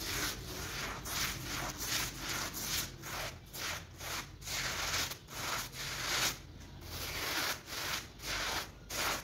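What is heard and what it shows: A soapy woven textile rug with a block pattern lies flat and covered in suds while gloved hands scrub across its surface with a hand brush. Repeated bright, hissing scrubbing strokes sweep back and forth in a steady rhythm, each stroke briefly fading between passes.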